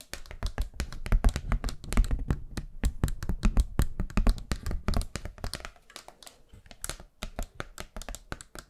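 Long nails tap quickly across a thin, flat, round pastel paper hand fan with bamboo ribs. The rapid, uneven taps are short and dry, each a soft low thump with a crisp bright click. They are loudest and densest for the first five seconds, then grow quieter and more spaced out.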